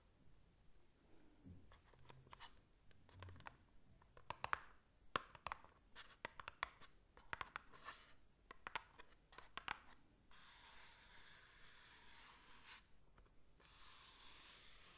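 Long manicured nails scratch and tap a small, hollow, rectangular white cardboard box with raised vertical ridges, held close to the microphone. Sharp, quick clicking taps and light scrapes come first. Then a steady, bright, hissing scratch runs along the ridges to the end.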